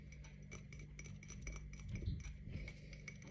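A tall, clear glass tumbler with a printed watermelon pattern, hollow and apparently empty, is held in one hand and tapped with the fingernails of the other. The result is a quiet, rapid run of light clinks with a short bright ring near 2 kHz, over a steady low hum.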